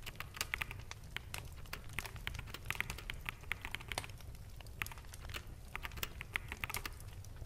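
Fingertips of both hands continuously tap the keys of a full-size black plastic mechanical keyboard with hollow keycaps. The result is a steady stream of quick, dry clicks with sharp bright peaks around 2 kHz that die away almost instantly, over a constant low rumble underneath.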